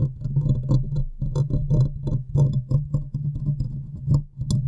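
Long nails tap and scratch the hollow metal mesh grille and metal body of a large condenser microphone. The result is a rapid, uneven run of soft thuds and scrapes that stay heavy and boomy, centred around a low hum near 137 Hz, with faint high, bright ticks on some strikes.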